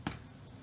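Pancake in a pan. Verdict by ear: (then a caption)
Hollow. A spatula taps once on the biggest choc-chip pancake in the pan, making a short, hollow, low-pitched thud that dies away quickly. The hollow sound shows the pancake is cooked through, and it is golden brown underneath and ready.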